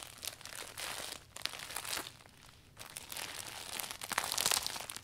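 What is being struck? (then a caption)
Vinyl umbrella canopy. Both hands roll and squeeze the canopy of a closed clear vinyl umbrella along its length, crinkling it. A dense, bright crackling plays in uneven bursts, dropping briefly quiet in the middle before growing louder and sharper toward the end.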